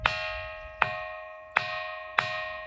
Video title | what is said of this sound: శ్రీశైలములో మునులు పెట్టిన శివలింగమును శివ స్వామి తాకాడు Srisailam munulu pettina Shivalingam | మనము ఒక ఆ గంట కొడితే ఎట్లా సౌండ్ వస్తుందో అట్లా అదే విధంగా సౌండ్ వస్తుంది